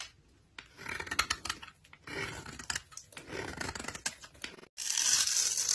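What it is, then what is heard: Bar of soap scraped with a blade. A utility knife blade scrapes the flat face of a solid pale yellow-cream bar of soap held in the hand, shaving off fine powdery flakes. Short bursts of dry, bright, crackly scraping come with brief pauses between strokes. A final, steadier stretch sounds louder and hissier.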